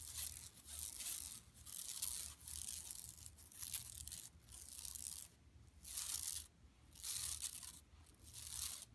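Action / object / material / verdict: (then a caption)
scrape / woven plastic mesh tote bag / woven plastic / none. Long nails scratch across an empty, flat yellow woven plastic mesh tote bag lying on carpet. The result is a bright, dry, raspy scraping in repeated strokes of about a second each, separated by brief quieter pauses and carrying little low end.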